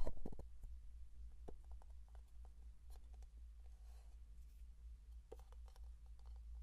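Fingertips and nails tap and scratch the lid and body of a small plastic Vaseline jar with a blue lid. Sparse, quiet clicks and light scratches sit over a steady low hum, with a brief flurry of taps at the start.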